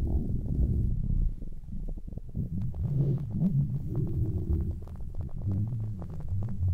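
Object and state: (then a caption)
Faux fur earmuffs. Fingertips with long nails grip and rub red fluffy synthetic-fur earmuffs on a mannequin head. The result is a deep, muffled, rumbling scratch that comes in dense, uneven bursts. Nearly all of its energy sits in the low bass, with no bright edge.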